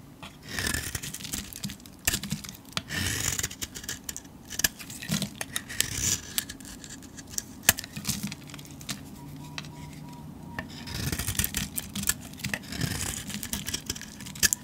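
A metal blade scrapes flakes and curls off a painted, solid cream soap bar held in the hand. The scraping comes in bursts of bright, crisp shaving with many sharp ticks and brief, dry crackles. Quieter pauses fall between the strokes.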